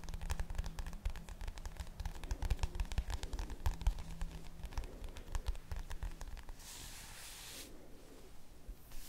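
Long nails tap and scratch the plastic cover of a red spiral notebook, making a dense run of quick, dry clicks over a steady low hum. Around seven seconds a brief bright hiss of scratching rises above the taps before the clicks resume more softly.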